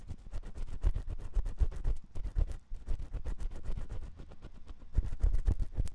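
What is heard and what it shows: A metal spiral ear pick scratches inside the ear canal of a white silicone ear on a 3Dio microphone. Rapid, uneven scraping strokes, about four per second, come through as deep, boomy thumps with crackly, bright rasping on top. Brief quieter gaps break up the scratching.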